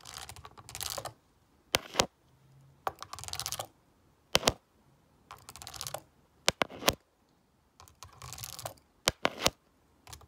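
A black stone face roller is rolled by hand over the rubbery keys of a black plastic graphing calculator with a hollow casing, lying flat. Bursts of soft, bright rolling rattles and key clicks alternate with several sharp, separate clicks, each dying away almost instantly.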